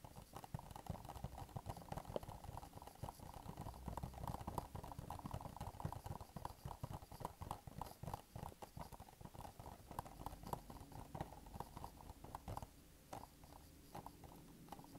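A small, hollow printed cardboard product box, held in both hands, is tapped with medium-length nails in a quick, continuous patter. The taps land as dull, hollow knocks with a boomy low end and a muted mid tone, each dying away almost instantly. The tapping grows sparser and softer over the last couple of seconds.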